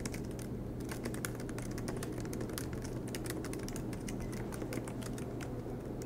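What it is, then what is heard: Laptop keyboard typing. Both hands type continuously with their fingertips on the black plastic low-profile keys of a MacBook Pro laptop, its silver aluminum body resting on a green desk mat. Rapid, light key taps click brightly over a steady low hum, blending into an even, unbroken stream of typing.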